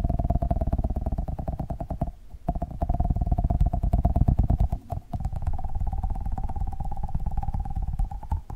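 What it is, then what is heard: Foam squishy toy. A small, solid yellow Pikachu squishy made of soft foam is held in one hand and tapped fast with the fingertips of the other hand. The result is a rapid, continuous stream of dull, low, muffled thuds with a faint steady tone around 700 Hz, briefly breaking off around 2 and 5 seconds before resuming.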